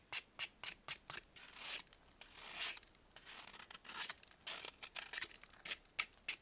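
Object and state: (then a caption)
Pressed baking soda block being scraped. A metal knife scrapes and carves a solid white, faceted block of pressed baking soda held in blue-gloved hands. It opens with a quick series of sharp, crisp crunches, then moves into longer gritty scrapes and bursts of short clicks. The sound is thin and bright with almost no low end.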